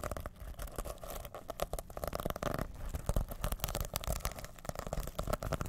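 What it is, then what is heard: Sequin pouch being scratched. Fingertips scratch and flip the rainbow plastic sequins on a small reversible fabric pouch held in both hands over the microphone. The result is a dense, continuous stream of quick scratchy clicks and crinkly rustles. Soft low rumbling runs underneath, and the sharp flicks come in uneven bursts.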